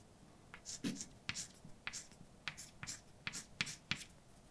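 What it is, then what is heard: Chalk writing on a blackboard. A hand writes words with a white chalk stick on a large, flat, dark painted blackboard with a solid surface. Sharp chalk taps alternate with short, bright scratching strokes across the board, each dying away almost instantly against a quiet background.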